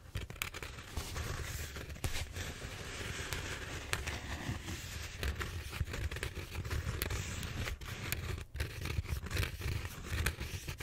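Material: Styrofoam.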